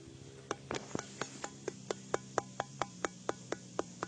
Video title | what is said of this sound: JEJAK NUSANTARA- Eps 13 Penemuan Makam Fir’aun Di Gunung Padang | yang bisa berbunyi kalau diketuk. Nih, teman-teman. Bunyinya agak beda ya sama batu yang lain